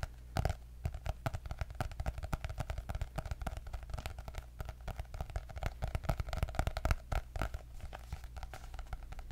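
Long nails tap rapidly and continuously on the cardboard cover of a white hardcover notebook with gold dots. Each tap is short, dry and quickly damped, with a hollow, papery knock over a steady low hum.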